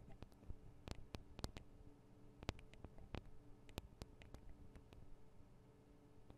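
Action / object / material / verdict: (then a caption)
tap / metal and plastic microphone capsules tapped with long nails / metal, plastic / none. Long acrylic nails tap and scratch on the two small hollow metal and plastic microphone capsules of a Tascam DR-40 recorder. Quiet, sharp, dry clicks ring out at irregular intervals over soft scratching and a steady low hum.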